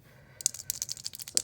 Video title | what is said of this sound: Epoxy Free Santa Cam Tutorial | you can hear it rattling whatever's in there